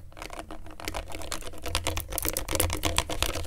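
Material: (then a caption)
Plastic. A gloved hand holds a small, thin, hollow plastic LED remote control with rubbery colored buttons while a pen tip traces and scratches over the buttons and face. Dense, rapid clicky taps and dry scratches run over a steady low hum, growing a little louder and brighter toward the end.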